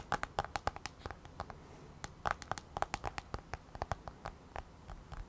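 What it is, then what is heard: Tablet glass touchscreen. Long nails tap and scratch on the black glass touchscreen of an iPad held at an angle. A quick, irregular series of sharp, dry clicks with bright ticks sounds over a faint scratchy hiss. Each tap stops dead with no ring.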